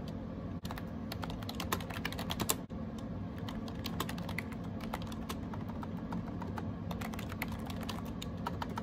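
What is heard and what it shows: Fingertips type rapidly on a gray AJAZZ 308i wireless Bluetooth keyboard with round plastic keycaps. A steady stream of short, bright plastic clicks and taps sits over a constant low background hum, with two brief drops to near silence in the first few seconds.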